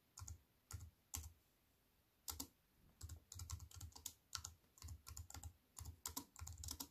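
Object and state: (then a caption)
Plastic-key keyboard in an aluminium frame being typed on. Two hands with long nails type on a slim wireless keyboard with plastic keys set in an aluminium frame. Quick bursts of light, clicky keystrokes, each with a soft low thud and a bright tap, come in uneven runs separated by short pauses. The taps are dry and die away almost instantly.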